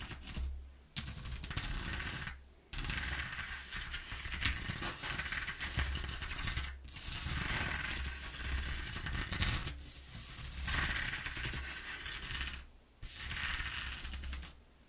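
Long nails scrape slowly along and across the exposed ridges of a flat corrugated cardboard sheet, making a dry, raspy, bright scratching. The long strokes are separated by brief pauses, and a steady low hum runs underneath.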